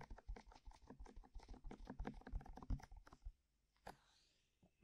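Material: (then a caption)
Silicone. Long manicured nails rapidly tap and scratch on both white, soft, hollow silicone ear-shaped covers fixed in place on a binaural microphone. The result is a quick, irregular run of muffled, low, thumpy taps with soft scratchy texture and very short decay for about three seconds. After a near-silent pause come a single tap and a last tap at the end.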